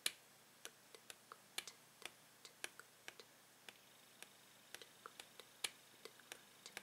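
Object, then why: Clear plastic blister pack with card backing. Fingernails tap the clear plastic bubble of a Tangle toy's plastic blister pack with a card backing. About 25 quiet, sharp, bright clicks come at an irregular pace, each dying away almost instantly with nearly no low end.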